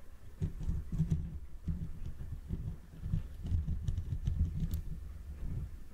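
Fingertips and short nails scratch and rub the hollow, rounded metal mesh grille of a Blue Yeti condenser microphone from both sides. The result is a steady run of soft, muffled scratching and patting bursts, heavy and low with almost no bright edge, each one dying away quickly.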